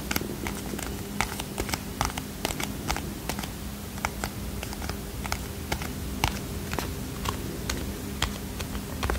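Fingernails scratch and tap a small red and white cardboard playing card box, producing a quick, irregular series of crisp, dry clicks with bright edges. Each tap dies away almost instantly over a soft, steady low hum and a faint scratchy rustle.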